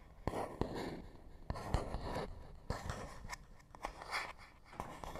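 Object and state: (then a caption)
Cardboard box. A fingernail scratches across a small, hollow printed paperboard box, making dry, rustling scrapes with sharp clicks and taps mixed in. The sound is quiet and irregular, with a full low-mid body and short, bright bursts.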